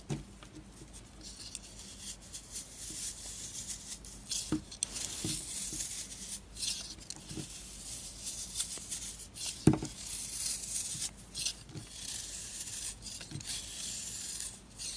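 A solid round disc of marbled orange and purple soap is held in the hand and scraped and cut with a metal blade. Soft, bright scraping and crumbly patter come through, broken by sharper short cuts and clicks.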